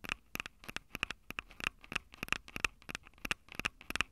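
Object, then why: Handheld audio recorder with metal-grilled microphone capsules. Long acrylic nails tap the metal-grilled microphone capsules on a Tascam DR-05 handheld recorder, a small, hollow plastic-bodied unit. The result is a quick, uneven series of sharp, bright clicks with a ringing high tone, each dying away almost instantly, with little low end and quiet gaps between taps.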